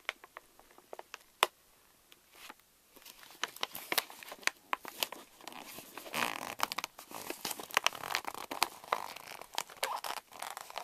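A pink Reese's pouch of plastic foil laminate is lifted, and fingers crinkle and fold its top edge. Sparse, sharp crackles and one loud snap open the clip, then the crinkling grows into dense, bright, papery rustling with quick clicks. The sound has almost no low end and no ring after each crackle.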